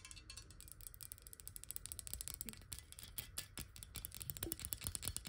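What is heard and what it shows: Long nails tap quickly and lightly scratch the sides of a clear, square-sided glass water bottle that is hollow and partly filled with water. The sound is a dense, uneven stream of short, bright clicks with brief glassy ticks and a soft low body beneath. Each tap dies away almost at once.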